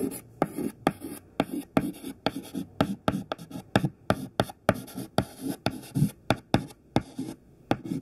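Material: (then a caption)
Chalk. A thin white classroom chalk stick held in the fingertips writes text on a black chalkboard, with scratching and tapping strokes. About 19 short, sharp taps stand out over soft, low scraping, each with a brief bright click and almost no ring.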